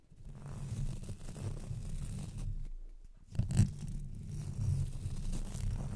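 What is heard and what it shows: Two thin wooden-handled paintbrushes, one in each hand, brush and scratch their bristles across the hollow, rounded metal mesh grille of a Blue Yeti microphone. The result is a continuous, deep, rumbling scratch with a papery, tearing texture that dips briefly before swelling into a louder scrape and then carrying on steadily.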